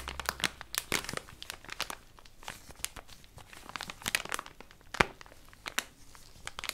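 A small, flexible cream-and-gold plastic wipes packet with a round white lid is squeezed and crinkled in latex-gloved hands in front of the face. The result is a steady stream of bright, crisp crinkles and short, sharp crackles, with little low end. One louder snap stands out near the five-second mark.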